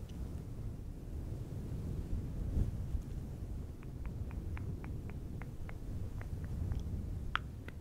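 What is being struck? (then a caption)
Synthetic fur microphone windscreen. Fingertips of both hands rub and scratch a fluffy synthetic fur windscreen on a silver microphone. A steady, muffled low rumble of rubbing fills the clip, and in the second half a run of short, crisp scratching ticks sits on top of it.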